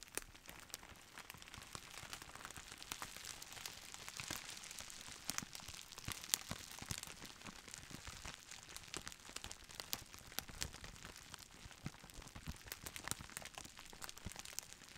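A forearm-length roll of clear plastic bubble wrap with hollow air-filled bubbles, still in its printed retail sleeve, is squeezed and crinkled with the fingertips of both hands. A steady, quiet, bright crinkling runs throughout, scattered with sharp, short crackles and snaps.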